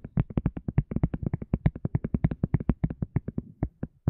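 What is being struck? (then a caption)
Small silicone cup lid. A small, flexible, hollow white silicone cup lid is tapped and scratched with long fingernails around its rim and surface. About 33 quick, dull, low-pitched taps follow one another rapidly, each dying away almost instantly.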